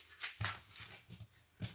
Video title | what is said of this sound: Comment préparer un pain mi epautre mi blé | ça sonne creux. C'est bien cuit.